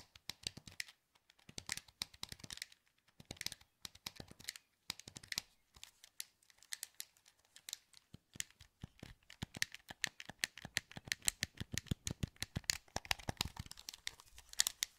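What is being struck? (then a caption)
Plastic game controller buttons. Fingertips click the buttons of a hollow, translucent green plastic PS2 wireless controller held in both hands. Dozens of quick, dry, bright clicks come in irregular bursts with brief pauses. Each click stops almost instantly, with no ring.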